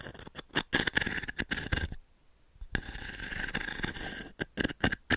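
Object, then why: Small wooden-framed pin brush with metal pins. Long nails scratch and tap the pins and frame of a small octagonal wooden-framed pin brush. Quick bursts of dry, bright scratching and tapping come first, then a brief near-silent pause, then a steadier stretch of scratching. More sharp taps close the clip.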